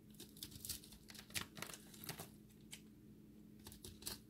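A utility blade shaves a multicolor ball of pressed dry recycled soap chips held in the hand, cutting down to its pink core. Quiet, bright scraping and crumbly crackles come in short, uneven bursts over a faint, steady low hum.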